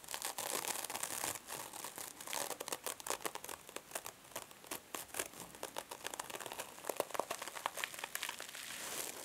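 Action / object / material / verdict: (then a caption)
scrape / metal mesh scrub sponge over foam / metal mesh / none. A small silver mesh-covered foam sponge is scratched with long nails, then squeezed and crumpled in both hands. The result is a dense run of sharp, dry crinkling and crackling with bright, hissy texture and almost no low end.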